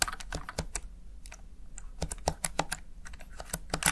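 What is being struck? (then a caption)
Plastic gaming keypad keys. Fingertips rapidly press and tap the backlit keys of a plastic Razer Tartarus Chroma gaming keypad, heard from close up at the side. Quick, sharp plastic clicks come in uneven bursts, with a brief lull in the middle and a dull low thump under each press.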